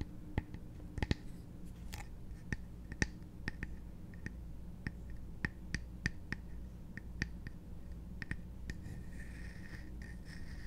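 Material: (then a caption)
Wood. Fingernails tap and scratch the top and sides of a small, hollow, embossed wooden chest-shaped trinket box held in the hand. Quiet, sharp, dry clicks with almost no ring come at irregular intervals over soft scratching, with a low, steady hum underneath.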